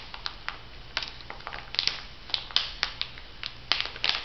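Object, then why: Laminated foil-plastic pouch. A laminated foil-and-plastic sheet mask pouch with a pear print is flexed in the hands while fingertips and nails tap and crinkle it. Irregular, sharp, bright crackles and clicks burst out over a soft, continuous rustle, each snap dying away almost at once. A faint low hum sits underneath throughout.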